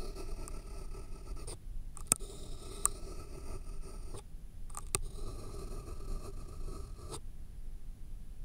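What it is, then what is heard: Pen writing on a paper stack. A pen tip scratches and writes on a solid, thick stack of white paper sheets resting on a foam block. It makes bursts of dry, papery scraping strokes broken by short pauses, with a few sharp little taps where the tip strikes the page. A faint steady high tone and low rumble sit underneath.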